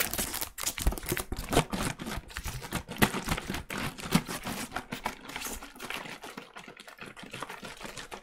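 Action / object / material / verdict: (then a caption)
tap / plastic cleaning-product bottle / plastic / none. A medium plastic cleaning-product bottle with a label, apparently full of liquid, is tapped with the fingertips of pink rubber gloves while being tilted around. The result is a steady stream of quick, dull taps with a soft low body and a bright, crinkly rubber-on-plastic rustle. Each tap dies away almost at once.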